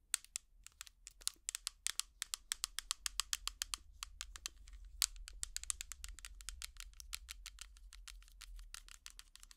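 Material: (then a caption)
Plastic. An empty small clear plastic tub with an orange lid is tapped rapidly with plastic finger picks, making dozens of sharp, dry, bright clicks with almost no ring. A faint, steady low hum runs underneath the whole clip.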